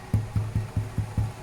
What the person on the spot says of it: You'll know that the bread is ready because when you tap it, you get that lovely hollow sound.